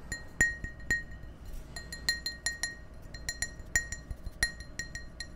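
Fingernails tap and clink on the wall of an empty, hollow clear glass tumbler held in front of the microphones. About twenty light, irregularly spaced taps each give a short, bright glassy ping near 1.9 kHz with high overtones that fade quickly over a faint low background hum.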